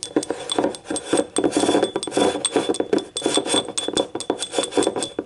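Long nails tap and scratch the rim and ribbed wall of a small, hollow, empty yellow ribbed ceramic cup lying on its side. Quick, short clicky taps blend with raspy, bright scraping and a faint mid-toned ring. The taps come in irregular bursts throughout.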